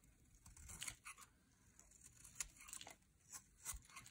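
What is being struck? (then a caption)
Soap bar scraped by a metal blade. A metal utility blade carves and scrapes curls off a solid, dry, bright green soap bar held in the hand. The result is a quiet series of short, dry, crisp scraping and crackling bursts, mostly high and bright with little low end, each dying away almost instantly.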